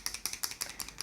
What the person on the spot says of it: you need to shake it if you can hear it has something that is shaking the product in there